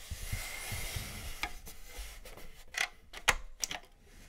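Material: Plastic.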